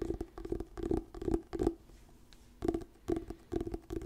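Fingertips and nails scratch and tap the glossy paper cover of a small, solid orange "Diary of a Wimpy Kid: The Long Haul" paperback book held in both hands near the mic. Quick, soft bursts of scratching and tapping carry a dull, hollow low-mid tone. There is a brief quiet pause in the middle before the scratching resumes.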